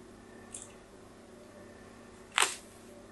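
A solid pink bar soap is held in hand and scratched in diagonal lines with a metal tool. A faint, bright scrape comes early, then a louder, sharp, bright scrape near the end that fades quickly over a quiet background hiss.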